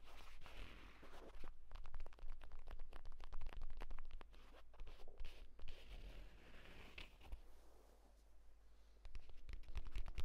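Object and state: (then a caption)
Leather tablet case. Fingertips and nails scratch and tap quickly along the surface and stitched spine of a closed purple leather tablet folio case lying flat. The result is a dense, irregular stream of dry scratching and crisp taps, with a quieter stretch before a louder burst at the end.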